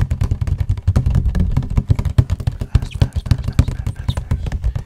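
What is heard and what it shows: Fingertips and nails tap rapidly on the panels of a hollow cardboard tissue box held beside the mic. The taps come as a dense, uneven patter of dull, low, hollow thumps that die away almost instantly, with most of the energy in the deep low end around 125 Hz.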